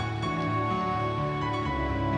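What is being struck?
Nothing is struck.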